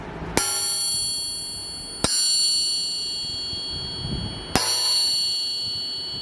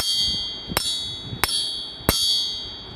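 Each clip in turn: First: forged steel crankshaft, long bell-like ring. Second: stock factory crankshaft.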